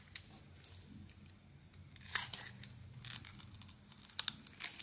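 A metal blade shaves small crumbly flakes off the surface of a solid, rectangular cream-colored bar of soap held in the hand. Soft, bright scraping and crisp crunchy rasps come in short uneven bursts over a quiet low hum, with a few sharper scrapes near the end.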